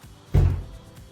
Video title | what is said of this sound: Spend a Day with Us -- Cabin Life in the Woods | that sounds solid I know it is pretty chunky